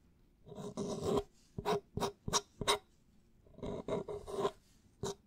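A clear plastic drink bottle with an orange cap and a label is held sideways in front of the microphone while fingertips and nails scratch and rub along it near the cap. The result is a series of dry, raspy scrapes, some longer rubs and some short strokes, each with a faint hollow plastic tone around 400 Hz and bright scratchy edges.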